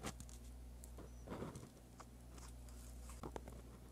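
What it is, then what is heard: Pen writing on lined paper. A dark-bodied pen with a metal tip scratches across a sheet of white lined paper lying flat while writing Korean script. Soft, dry scratches and short strokes sound at a quiet level over a steady low hum.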